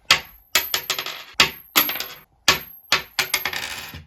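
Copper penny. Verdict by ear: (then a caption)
Real. A 1976 US copper penny is pinged repeatedly in a ping test, giving a series of bright, high metallic clinks around 2.6 kHz with short ringing tails. It rings rather than sounding dull like a 2022 penny, marking it as a real copper penny from before 1982.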